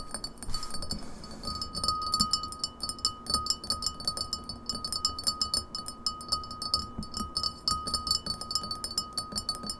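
Long fingernails tap quickly on the sides of an empty glass pint glass standing upright on a table. The result is a rapid stream of bright, clicky taps over a steady faint ringing tone, with each tap decaying quickly.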